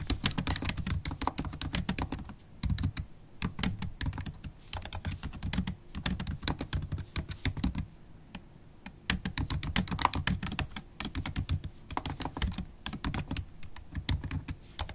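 Fast typing with long stiletto acrylic nails and fingertips on a MacBook Pro laptop keyboard with low-profile black plastic keys set in a silver aluminum body. Rapid, dense bursts of short, bright clicking and tapping sit over a soft low thud, with brief pauses between runs of keystrokes.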